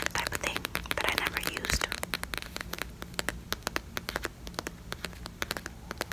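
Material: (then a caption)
Plastic. A small, filled yellow Pantene plastic squeeze tube is held near the mic and tapped and scratched with long fingernails. Dense, crackly scratching fills the first two seconds, then gives way to a steady run of sharp, dry taps that die away almost instantly over a faint low hum.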